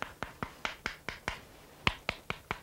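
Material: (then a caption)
Wood. Knuckles knock on a soft wooden bow-drill baseboard that takes a thumbnail mark. It gives twelve short, sharp knocks with a hollow, door-like tone and almost no ring. The sound shows the wood is soft yet firm, not punky or crumbly like cork.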